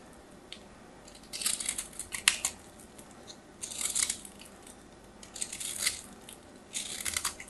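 A metal craft knife scrapes and carves a solid white textured bar of soap held in the hand, shaving off powdery crumbs. Four bursts of crisp, bright, gritty scraping stand out from a quiet background, with short sharp clicks between them.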